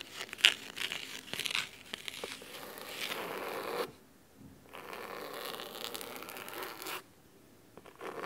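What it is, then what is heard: Cloth-covered hardcover book. Fingernails scratch the fabric cover of a thick navy cloth hardcover book resting on a wooden table. Dry, bright scratching and rasping strokes come in bursts, with a sharp scrape near the start, then fall to near silence twice before resuming.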